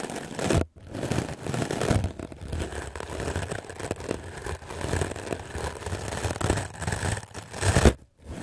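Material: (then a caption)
Melamine foam. A white, solid, rectangular melamine foam sponge is held in the hand and brushed aggressively with a wooden clothes brush with black bristles. Fast, continuous scratchy strokes dominate, with a heavy low end, brief pauses near the start and the end, and a loud swipe just before the final pause.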